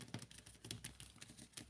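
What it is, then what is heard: Thick rubber gloves. Thick, heavy-duty industrial rubber gloves, resistant to dirt and oil, are tapped in a quick, uneven series of soft taps. Each tap is a short, dull thump with a light crisp click on top, and the deadened sound reflects the gloves' thickness.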